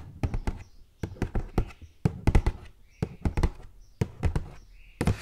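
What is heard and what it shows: Long gold metal claw nails tap and knock on the flat sides of a hollow, hand-held purple printed cardboard gift box with a ribbon bow. About 17 quick, dull, low taps come in short bursts roughly once a second, each dying away almost instantly, with a faint bright rustle between some bursts.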